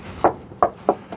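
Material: Steel.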